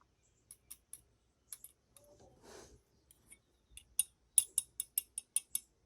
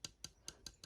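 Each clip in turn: First: diecast metal model aircraft wing. Second: plastic model aircraft, not metal.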